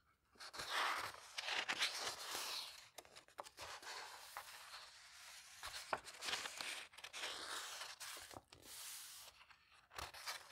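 Fingertips slowly turn the thin old paper pages of a vintage botanical book lying open and smooth them down. Dry, crinkly rustles and soft papery swishes rise and fall, bright with no low end. Brief quiet gaps fall between the page movements.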